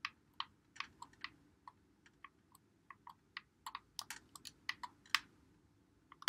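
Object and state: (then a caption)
Plastic game controller buttons. A white Xbox One controller with a hollow plastic body is held in both hands while fingertips press and click its buttons and thumbsticks. Short, dry, bright plastic clicks come at an uneven pace, some spaced apart and some in quick clusters, over a quiet low hiss.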